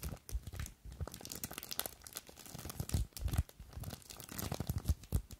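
Long acrylic nails scratch, squeeze and crinkle a small clear plastic bag full of blue polystyrene foam beads. Dense, uneven crackling and rustling bursts run throughout, with a low, muffled body and bright, crisp crinkles over it. The sound never stops, swelling and fading with each squeeze.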